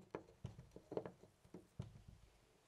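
A loose brass-colored metal door knob on a white panel door is held with the fingertips and jiggled. It makes a quiet series of short, dry clicks and knocks, with low thumps and a midrange rattle. Each one dies away almost instantly.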